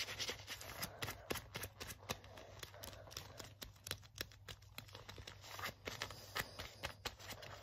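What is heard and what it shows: An open hand and fingertips rub back and forth along the cracked sleeve of a worn black leather jacket worn over the arm. Rapid, crisp scratching and rustling strokes come in uneven bursts with bright, dry texture and no ring. A faint steady low hum runs underneath.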